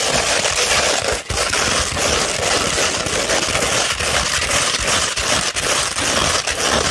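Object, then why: Fine sandpaper sheet. Long pointed red nails scratch a fine tan 240-grit sandpaper sheet, first held curved and then laid flat. The sound is a steady, bright, gritty rasp with little low end, broken only by a few brief dips as the strokes change.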